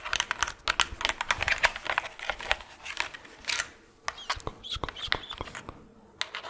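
Fingernails tap rapidly on a plastic skull Halloween decoration, making a dense run of sharp, bright clicks with very short decay. The clicks pause briefly near the four-second mark, then continue more sparsely.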